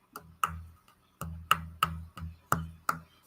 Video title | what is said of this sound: I want to hear from YOU! #vinyl | maybe hard to tell over the mic but it's a a dull Bassy thud